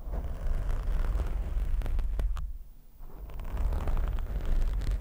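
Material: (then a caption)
Foam. Fingertips scratch, grip and rub a black foam windscreen on a microphone. This makes a dense, deep rumbling rustle with scattered crackly scrapes. The sound dips to a brief quiet lull midway, then swells back up.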